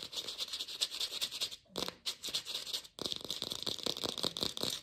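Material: Plastic.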